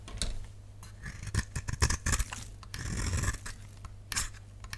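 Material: Soap.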